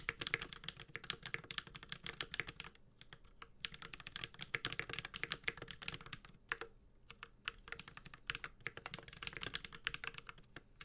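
A Space65 Cybervoyager 65% mechanical keyboard with Holy Panda switches, an aluminum case and ABS keycaps is typed on continuously with the fingertips of both hands. It produces a fast, dense stream of bright, crisp clacks with very short decay and a little low thock underneath. Brief lulls fall around the three- and seven-second marks.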